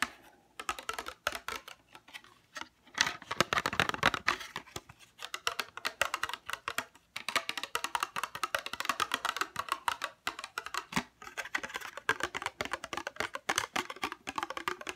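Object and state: Plastic case.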